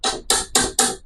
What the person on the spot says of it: Hindi naman ganyan kasi ang kahoy iba ang tunog